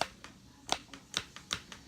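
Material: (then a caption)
Plastic. A part of a new plastic Bop It Extreme 2 electronic toy is flicked, giving seven sharp, bright snapping clicks that alternate stronger and weaker. The snapping is a defect in the toy, possibly caused during shipping.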